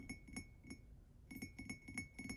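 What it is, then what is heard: Ceramic mug. A ceramic book-box mug made for the Folk of the Air series is tapped in a quick, uneven run of light clinks. Each tap gives a short, bright ring with a steady high tone near 2.2 kHz. The taps come in two bursts separated by a brief pause.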